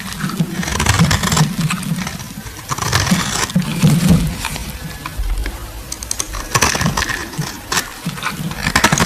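A metal blade shaves the surface of a solid green oval bar of soap, with the shavings piling up. The scraping comes in uneven, rasping bursts with a dull, low-heavy body and brief bright crackles.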